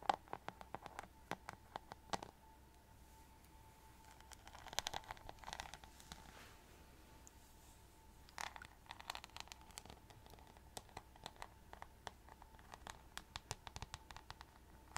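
Long nails and fingertips tap and scratch across the rhinestone-covered back and along the bristle edge of a hollow plastic paddle hairbrush. The result is a quiet, irregular run of crisp, bright clicks and brief scratchy rustles, over a faint steady hum.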